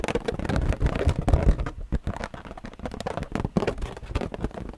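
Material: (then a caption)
Latex. An inflated, hollow purple latex balloon, held close to the microphone, is tapped and scratched with long painted nails. The result is a dense run of quick, deep, boomy thumps with a low rumble, plus faint dry scratching between them.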